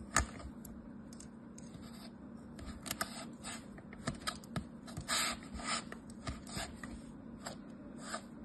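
A palm-sized, solid molded yellow kinetic sand turtle on white paper is sliced and scraped with a thin metal blade, giving soft gritty crunches, scrapes and sharp clicks over a steady low hum. The pieces crumble away, and at the end the turtle is picked up in the hand while a purple sand pile sits untouched nearby.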